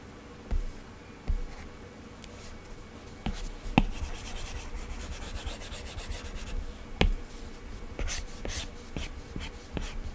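A plastic Apple Pencil tip draws across an iPad's glass screen fitted with a matte Paperlike plastic protector, making short, scratchy strokes and light taps on the flat tablet. Several sharp taps stand out over a soft, bright scratching that swells in the middle and near the end of the clip.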